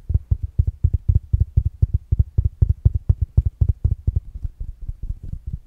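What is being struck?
Small fabric-covered smart speaker.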